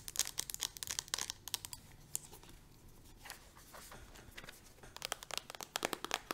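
Long nails tap quickly on the side of a plastic hand cream tube and on its green plastic cap. The taps are dry, bright clicks with almost no ring, fast at the start and end, with a quieter, sparser stretch in the middle.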